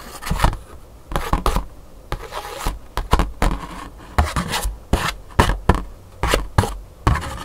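Long pink nails scratch and tap across the surface of a thin black scratch-art paper card held on a table. Dry, raspy scratching strokes alternate with quick, dull taps, each burst short and rubbing with almost no ring after it.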